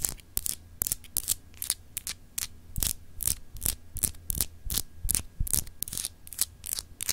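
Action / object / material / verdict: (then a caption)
scrape / solid glass globe paperweight / glass / none. Long acrylic nail tips scratch over a palm-sized solid clear glass globe paperweight with raised etched continents. The result is a quick, irregular run of short, bright, dry scratches, each stopping almost at once, over a steady low hum.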